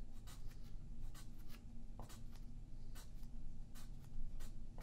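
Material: Paper.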